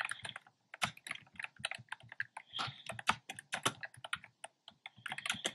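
Fingertips type steadily on a black plastic keyboard with hollow, round, pastel retro keycaps. The result is a quick, uneven run of bright, clacky plastic clicks, each dying away almost at once, with brief pauses between bursts.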